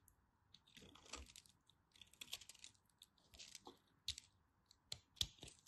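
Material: Soap.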